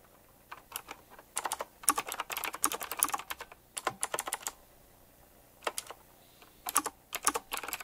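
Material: Plastic.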